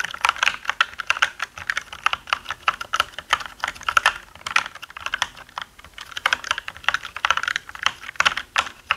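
Both hands type with their fingertips on a black mechanical gaming keyboard with plastic keycaps. Rapid, sharp clicks clatter in bright bursts with almost no low end, each keystroke dying away almost instantly. The typing eases briefly around the middle, then picks up again.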